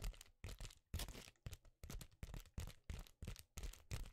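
A flexible sheet of reflective foil bubble insulation, held in both hands, is tapped and scratched with the fingers. It gives a quick run of crackly taps in separate bursts, each with a soft low thump under a bright, papery crinkle, and a very short ring.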